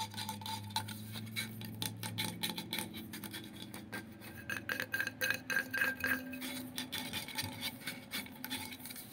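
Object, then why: Insulated stainless steel water bottle. A tall, light-blue, powder-coated, insulated stainless steel water bottle with a black loop lid is held in both hands and tapped and scratched along its side with fingertips and nails. Quick, irregular light taps mix with dry, bright scratching, and some taps bring out a short metallic ring near 1.6 kHz. The sound stays quiet and close, with the tapping growing busier in the second half.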